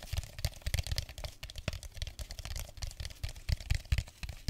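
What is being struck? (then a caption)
Clear plastic drink bottle. An empty clear plastic drink bottle is held close to the mic and tapped and scratched with fingernails. Rapid, uneven dull thumps with a strong low body mix with bright, crinkly scratching that fills the clip.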